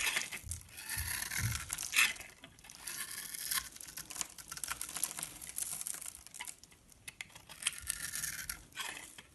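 A palm-sized solid orange bar of soap with a scored surface is held in the hand and scraped and shaved with a metal blade. Shavings crumble off in a dense run of dry, bright scratching and crinkly tearing. The sound comes in short bursts with brief pauses between strokes.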